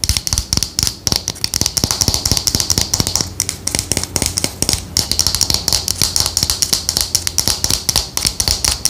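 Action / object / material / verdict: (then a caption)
tap / glass perfume bottle with cap / glass / none. A clear glass perfume bottle with a dark cap, partly filled with liquid, is held in hand while long nails tap rapidly on the glass and cap. The result is a dense run of short, bright clicks with almost no ring, and a faint low hum runs underneath.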